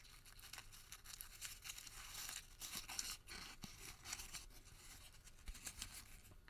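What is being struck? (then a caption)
Thermal paper receipt. A white thermal paper receipt is crumpled small in the fingertips, then partly unfolded and stretched between both hands. It makes a dense, bright crinkling with sharp crackles and short tearing-like rasps, mostly high in pitch, with little low end.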